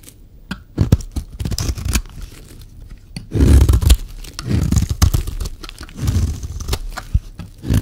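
A solid, dry yellow bar of soap held in the hand is scraped and shaved with a metal utility-knife blade. The sound is a series of short, crisp scraping and crunching strokes, some brief and others drawn out, with bursts of dense shaving noise between quieter pauses.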